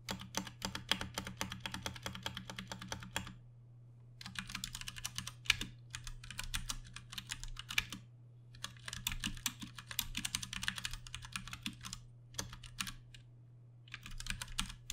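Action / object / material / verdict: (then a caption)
tap / plastic mechanical keyboard keys / plastic / none. Both hands type fast with their fingertips on a Ducky One 2 Mini, a compact 60% mechanical keyboard with plastic keycaps, Cherry MX Brown switches and RGB backlighting, sitting on a desk. Rapid, bright, clacky key taps come in bursts separated by short pauses. A steady low hum runs underneath throughout.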